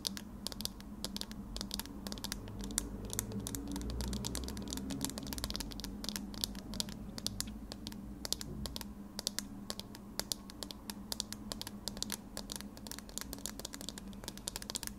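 Thin wire-frame metal eyeglasses are handled close to the recorder, with fingernails scratching and tapping the frame and lenses. Rapid, dense, bright clicks and scratchy ticks run continuously for the whole clip over a steady low hum.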